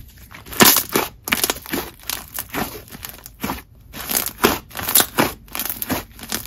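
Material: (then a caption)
Slime. Purple (lavender) butter slime is kneaded, folded and stretched with both hands on a marble surface. It makes a rapid series of bright, crackling, tearing squishes that rise and fall in short bursts.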